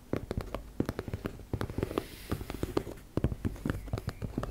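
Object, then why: Fabric makeup pouch. Long nails rapidly tap and scratch on a teal embossed-fabric makeup bag. The result is a quick run of short, dry, muffled taps with a low, soft body and almost no ring, mixed with faint scratchy rustles between them.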